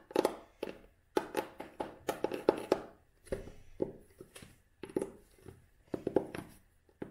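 Long nails tap on a closed vintage cloth-bound hardcover book held flat, moving over its red cloth spine with its label, the cover and the page edges. Short, dry, muted taps with a mid-pitched body fall in irregular quick clusters, each dying away almost at once.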